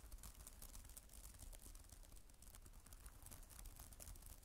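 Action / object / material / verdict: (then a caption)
tap / plastic tablet keyboard cover / plastic / none. Long nails type fast on a black plastic tablet type-cover keyboard with plastic keys, making a dense stream of sharp, bright clicks over a steady low rumble. An added echo effect smears the taps together into a continuous clatter.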